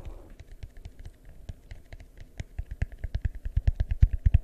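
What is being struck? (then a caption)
Plastic bowl. Fingertips tap a large, hollow, empty, yellow translucent plastic bowl held beside and over the mic, in a quick, uneven run of soft, deep thuds. The hollow knocks stop almost instantly, with faint clicky highs, and grow louder and heavier toward the end.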